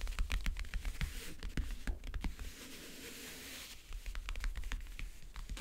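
Long nails tap and scratch on the map-print lid of a closed, hollow backgammon case. Quick, sharp clicks come first, then a steady, bright scratching rasp in the middle, then scattered taps return with a low, hollow thump beneath them.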